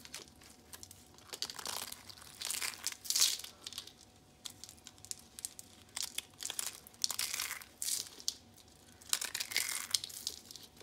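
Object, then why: Thin soap sheets. Thin, speckled, brittle dried soap sheets are snapped and crumbled between the fingers. Dry, bright crackling and crunching come in repeated bursts separated by short quiet gaps. A faint steady hum sits underneath.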